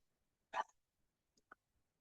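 A hammer strikes the finish of a drained commercial pool's concrete shell at a spot by the light, giving one loud hollow knock followed by two faint taps. The very hollow sound, like a hollow core door, shows the finish there has delaminated from the concrete, unlike well-bonded areas that sound solid, so the spot is marked.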